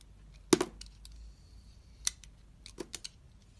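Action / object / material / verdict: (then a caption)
scrape / bar of soap cut with a knife blade / soap / none. A utility knife blade, held in a hand with long red nails, slices the outer layer off a solid metallic blue bar of soap with a lilac interior. Sharp, crisp cutting and scraping clicks sound over a quiet background, with a faint bright hiss between strokes.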